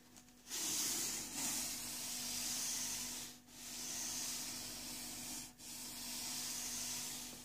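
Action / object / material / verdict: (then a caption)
scrape / corrugated cardboard box / cardboard / none. Flat fingertips and a palm rub and slide across the top flap of a medium, empty-looking corrugated cardboard box with open flaps resting on a desk. The result is a steady, bright, scratchy rubbing hiss in long strokes broken by brief pauses, over a faint low steady hum.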